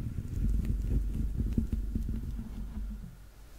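A yellow Teletubby plush is held sideways against the microphone while fingernails tap and scratch the grey dotted rubber soles of its soft stuffed feet. The sound is a close, muffled run of dull, low thumps and soft scraping, with little bright content, fading slightly toward the end.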